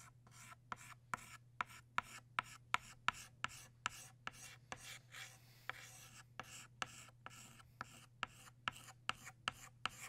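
A blue chalk stick held at the fingertips draws and scratches strokes for butterfly wings on a solid black chalkboard. About twenty sharp, dry taps and scrapes come in a steady rhythm, each a short bright rasp with almost no ring, over a faint low hum. Around the middle the strokes turn into a longer continuous scratching before the quick taps resume.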